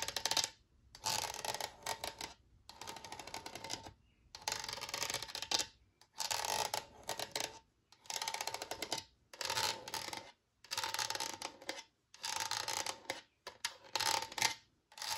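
Long nails tap rapidly on the side of an empty, translucent HDPE plastic spray bottle held in the hand. The result is repeated bursts of bright, hollow clicking with a short ring around 900 Hz.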